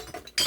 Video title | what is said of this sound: มารู้จักกับสิ่งของแต่ละอย่างกันจ้า#สาวสมศรีพาเลาะจ้า | อันนี้เป็นมิเนียม รวมได้กับกระป๋องเบีย์จ้ะ